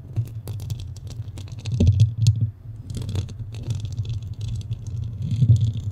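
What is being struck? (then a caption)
Metal mesh microphone grille. Fingernails scratch and tap the sides of a black studio microphone's metal mesh grille. The result is a steady low, boomy rumble, with bright, crackly scratching and short taps layered on top.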